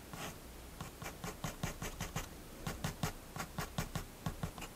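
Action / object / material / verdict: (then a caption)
scrape / fineliner pen on paper sketchbook page / paper / none. A fineliner pen makes quick, repeated hatching strokes on a spiral-bound paper sketchbook page resting on a wooden table, while the other hand rests on the page. Short, dry scratching strokes come in irregular bursts, each a soft low thump with a bright papery hiss.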